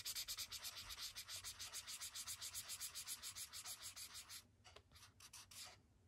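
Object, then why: Felt-tip marker on a paper page. A thick blue felt-tip marker held in a fist scrubs colour onto a white paper sketchbook page resting on a wooden desk. Rapid back-and-forth strokes of about four per second make a bright, dry, hissy scratching with almost no low end. After about four seconds, the strokes turn sparser and quieter before trailing off.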